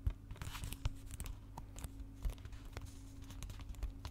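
Short fingernails scratch and tap across the back cover of a hollow, closed plastic DVD case with a printed cover sleeve, about palm-sized and held upright with both hands. The result is a run of quick dry scratches and light taps with a crinkly plastic-film texture over a steady low hum.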